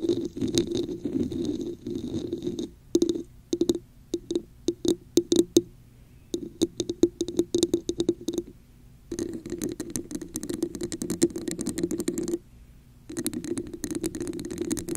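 Long nails tap the top and scratch the sides of a red hollow textured plastic cup placed over a microphone. Dense stretches of scratching alternate with bursts of sharp, separate taps, all carrying a hollow resonant tone around 340 Hz with bright clicky edges. Brief quiet gaps fall between the sections.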